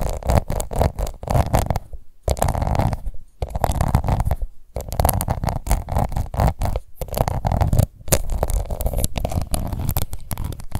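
Long nails scratch rapidly over a small, round, pink plastic face powder compact held in one hand. The result is a dense, muffled, low-heavy rasping, broken into bursts by a few brief pauses.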